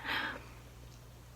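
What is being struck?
Nothing is struck.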